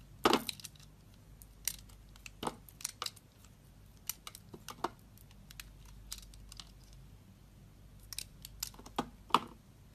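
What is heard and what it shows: A metal blade cuts and scrapes thick curling flakes from a solid, soft, mint-green oval bar of soap, hand-sized and held in the palm. Quiet, crisp scraping and crackling bursts come in irregular clusters, each with a bright edge that dies away almost instantly.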